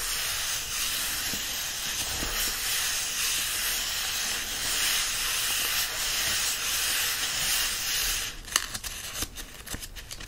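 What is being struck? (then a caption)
Paperback book, paper pages. Palms and fingertips rub the paper pages of an open paperback book resting on a fleece blanket, then flip a page. A steady, bright, hissy rustle fills most of the clip, then gives way to sharper, crackling paper scratches and page-turn sounds near the end.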